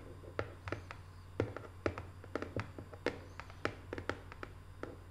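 Long nails tap with both hands on the closed lid of a small, hollow rectangular cardboard box covered in Paris photo prints. Crisp, short clicky taps land in an uneven run with a faint hollow knock under each, and they die away almost instantly. A steady low hum sits underneath throughout.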